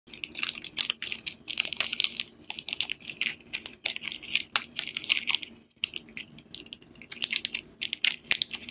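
A palm-sized, solid Dettol soap bar in a glossy plastic film wrapper is held in both hands while fingertips and nails squeeze, rub and crinkle the wrapper during unwrapping. Dense, bright crackling and crinkling comes in rapid, sharp bursts with almost no low end, with a brief near-silent pause before the crinkling resumes.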